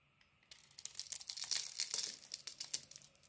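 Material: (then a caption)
Soap. A utility knife blade carves shavings from a handheld solid green Arzt Seife bar of soap with a cream interior. After a brief quiet start, a rapid, uneven run of crisp, bright scraping and crackling follows, each cut snapping off short with almost no low end.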